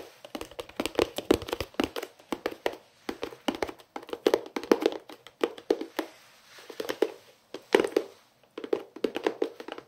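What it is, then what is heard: Plastic pencil case. A hollow white-and-green pencil case, likely plastic, is held in both hands and tapped rapidly with the fingertips on its flat face. The result is quick bursts of short, dry, hollow taps with a mid-range knock around 445 Hz, separated by brief pauses.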